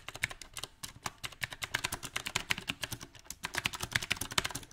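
Fingertips type on a backlit mechanical keyboard with round plastic typewriter-style keycaps on a silver metal frame, tapping the keycaps and the spacebar. About 33 quick, bright, clicky keystrokes come in an uneven rhythm, each with a short dry snap and almost no ring.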